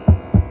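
Two short, dull, low thuds come from pressing on a swollen, wet, moldy interior wall panel near the pipe of a leaking motorhome. Each soft push gives a muffled, deep knock that dies away almost at once, with no bright or hollow ring. The dull sound marks the panel as water-soaked from the roof leak, with something already rotting inside.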